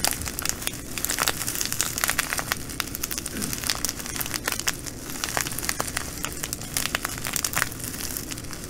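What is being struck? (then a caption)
Plastic bag of glass bugle beads. Long nails scratch and pinch a clear plastic bag of green glass bugle beads lying on a table. The result is a steady, bright crinkling and crackling, dotted with many quick, sharp ticks and a faint low hum underneath.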